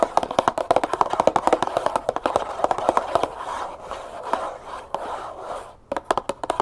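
Long fingernails tap quickly on a small, hollow cardboard box of brown sugar that appears to be filled with sugar. The taps are dry, hollow clicks that die away almost at once, centered in the midrange. A softer, scratchy, rustling stretch runs through the middle before crisp taps return at the end.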